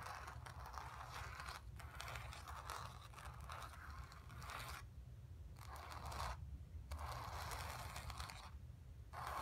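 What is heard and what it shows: Long nails on both hands scratch the painted surface of a stretched canvas lying flat on carpet, with a hollow space behind the fabric. The result is a steady, dry, raspy scratching with a bright midrange edge, broken by a few brief pauses near the end, over a constant low rumble.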